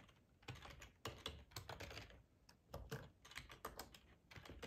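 Fingertips of both hands type on a black plastic ergonomic split computer keyboard with a hollow housing, lying on a tablecloth. Quick bursts of soft, clacking key taps come in uneven runs with short pauses, each tap carrying a dull low thump under a bright click. The taps are quiet and die away almost at once.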